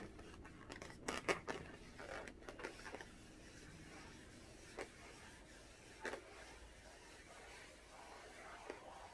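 A small blue inflated latex balloon, hollow and air-filled, is held in the hands and tapped with long orange-painted nails. Bright, crisp ticks and light rubbery scrapes cluster near the start, then sparser single taps follow over a quiet, steady background.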